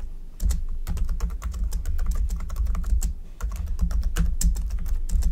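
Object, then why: Plastic computer keyboard. Both hands type continuously with their fingertips on a black plastic computer keyboard. Rapid, dry key clicks patter over a steady low hum, with a brief lull near the middle before the typing picks up again.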